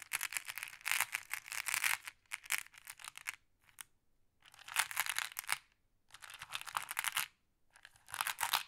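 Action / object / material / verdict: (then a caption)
scrape / pile of small flat glass pebbles stirred with a stick / glass / none. A thin wooden or bamboo stick pokes and stirs a pile of small, solid, flat glass decorative pebbles in a round wooden tray. Bursts of rapid, bright glass clicking and rattling come in several clusters separated by short pauses.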